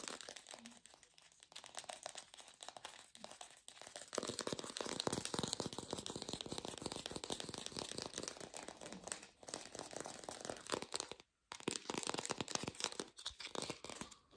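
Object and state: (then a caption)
Artificial plastic pear. An artificial plastic pear is tapped rapidly with fast, dense, bright clicking and crinkly rattling in a lo-fi recording. The taps swell louder after the first few seconds, stop for a brief moment near the end, and then resume.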